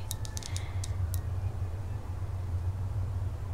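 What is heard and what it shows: A tall, conical, liquid-filled glass lava lamp is held upright in both hands while long nails tap and scratch along its glass. Short, bright, high clicks cluster in the first second and one comes at the very end, all over a steady low hum.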